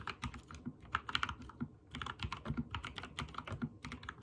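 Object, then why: Mechanical keyboard with plastic keycaps. Fingertips type rapid key presses on a backlit mechanical keyboard with white and teal plastic keycaps. It makes quick, dry clicks and clacks, each with a bright top and a low thock, and the presses briefly pause just before the two-second mark.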